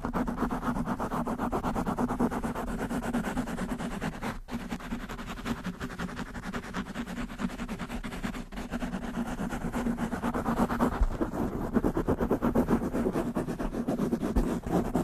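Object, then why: Foam microphone windscreen. Long pink-painted nails on both hands scratch fast over the soft, porous black foam windscreen covering the head of a large black USB condenser microphone. The result is a dense, continuous, muffled rustling scratch, heavy in the low and middle range with little high end. It holds steady for the whole clip, with two brief dropouts near 4.5 and 8.5 seconds, and grows slightly rougher toward the end.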